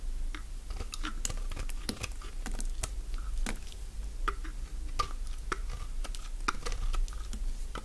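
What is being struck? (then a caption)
Bar of soap cut with a blade. A utility-knife blade shaves strips along the length of a solid, elongated green dry soap bar held in the hand. The cuts make a rapid run of short, crisp scraping crunches with bright, dry edges over a steady low rumble, each one stopping almost at once.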